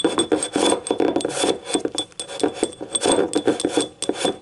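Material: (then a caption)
Ceramic. Long painted nails scratch and tap the ribbed glazed wall of a small yellow ceramic cup, hollow and empty, lying on its side. A quick run of dry raspy scrapes and short clicky taps follows, with a midrange body around 330 Hz and a thin, steady high tone above. Each tap dies almost at once.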